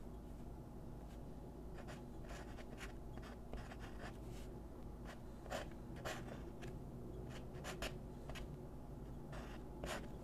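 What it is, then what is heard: Paper sheet under pencil strokes. A graphite pencil draws small scratching strokes on a thin white paper sheet resting on a wooden desk, with the left fingertips holding the paper down. Quiet, brief, bright scratches rise intermittently over a steady low hum.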